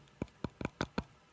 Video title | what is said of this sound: Bluetooth Wireless Active Noise Cancelling Headphones by Tsumbay Review | You can hear how dull that is because it's really a soft.